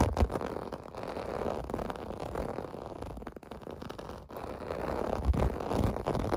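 Fingertips scratch and tap across the raised bubble domes of a clear blue plastic bath mat lying on carpet. A dense, irregular rasping fills the clip, mostly low and dull with little brightness, broken by short soft taps and a brief lull a little past the midpoint before the scratching picks up again.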